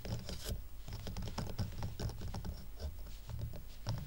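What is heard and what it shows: Fingernails tap and scratch fast along the rough raw-wood side of a twine-tied stack of square wooden coasters. The result is a dense, continuous patter of dry taps and scrapes, mostly low and thuddy, with short bright ticks on top and almost no ring.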